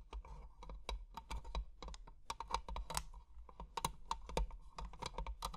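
Long painted nails tap and scratch quickly on a small, closed treasure-chest jewelry box with an ornate metal frame and clear glass panels, filled with plastic gems. A steady run of sharp, clicky taps with bright edges and a short midrange ring sits over a low, rumbling undertone, with faint scratching between the hits.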